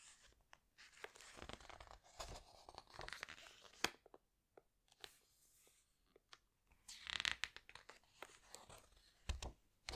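A hand presses a page of a large open hardcover book with glossy paper flat, then slowly turns a thick glossy page. Quiet, bright crinkling and rustling rise and fade, dotted with sharp papery snaps and clicks, with a louder burst of crackle as the page flips over.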